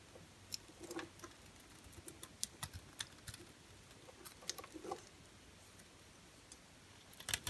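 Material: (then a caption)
Soap. An orange and white striped bar soap, held in the hand, is carved with a utility knife blade. Soft, bright, crisp scrapes and clicks come in short, scattered bursts over a quiet background. The clip ends with a quick flurry of cuts.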